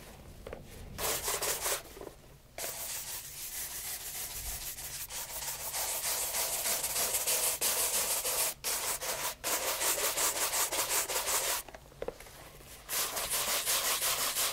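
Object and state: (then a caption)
Leather loafer being brushed. A light brown leather loafer, fitted with a wooden shoe tree, is vigorously brushed along the upper and welt with a wooden horsehair shoe brush. Rapid, bright, scratchy back-and-forth strokes continue steadily, broken by a few brief pauses.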